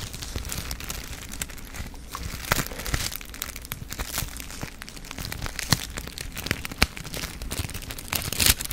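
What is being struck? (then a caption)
Small foil sachet. A small silver foil sachet, apparently a sealed wipe or dressing packet, is held in the fingers and crinkled and rubbed with the fingertips. Dense, bright crinkling and crackling runs throughout over a faint low hum, with a few louder, sharper snaps standing out and a brief harsher burst near the end.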